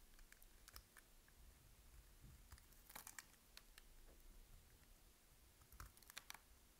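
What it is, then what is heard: Dry bar soap being cut. A utility knife blade shaves and cuts crunchy slices off the scored surface of a solid, dry, palm-sized green bar of soap held in both hands. Quiet, crisp crackles and scrapes scatter across a low rumbling background, with sharp bright clicks clustering near the start, the middle and the end.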